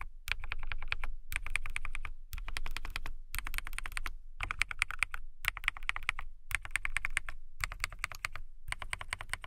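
Fast typing with fingertips and long nails on a transparent acrylic mechanical keyboard with clear plastic keycaps. Rapid, bright clicking keystrokes with a low body come in quick bursts separated by brief pauses, each keystroke short and dry.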